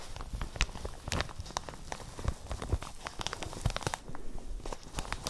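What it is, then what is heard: Plastic shower cap being crinkled. A light, empty printed plastic shower cap is held beside the microphones and squeezed and crinkled with the fingers and long nails. It gives a continuous run of soft, irregular crinkles and crackles, with sharp bright ticks poking through over a low, muffled rumble of handling.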